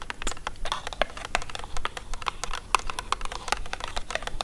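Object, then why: Printed cardboard box. Long acrylic nails tap quickly on the front and edges of a hexagonal printed cardboard haggis box. The result is a rapid, irregular run of dry, light clicks with a hollow papery tone around 1 kHz and bright tips, each dying away instantly over a faint low background rumble.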